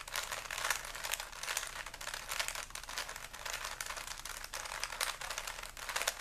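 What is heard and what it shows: A small solid plastic 3x3 Rubik's cube with stickers is held in both hands while the fingers keep twisting its layers. A steady, dense stream of bright plastic clicks and scraping rattles runs throughout, with little low end. The clicks are short and dry, with no ring after them.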